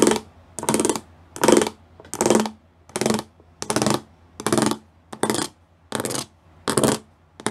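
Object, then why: Plastic panel with raised pyramid studs. Fingertips and nails tap across a flat grey plastic sheet covered in rows of small raised square pyramid studs. Short, bright, crackly bursts of dry clicking repeat at a loose, steady pace with near-silent gaps between them and almost no ring.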